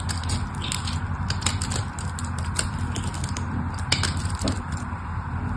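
A metal blade scrapes and cuts pieces off the scored face of a solid mauve-purple bar of soap. Dense, crunchy crackling and scraping runs throughout over a low, steady rumble. Sharper bright ticks pop out where the pieces break away.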